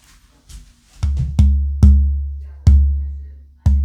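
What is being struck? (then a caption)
Torrified spruce guitar top plate. A torrified old-growth AA Adirondack spruce acoustic guitar top plate is held up to a microphone and tapped six times for a tap tone test. Each tap gives a deep, boomy thump pitched around 70 Hz that rings out and slowly fades, with almost no high content. The torrified top is judged to ring out a little more than the non-torrified one.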